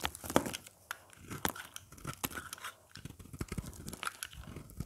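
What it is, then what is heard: Dry soap bar. A craft blade carves and scrapes crumbly chunks off the edge of a dry, hard, oval beige soap bar with embossed lettering, held in the hand. A quiet run of crisp, crunchy scrapes and small tearing cuts comes in rapid bursts, each with a bright, brittle edge and almost no ring.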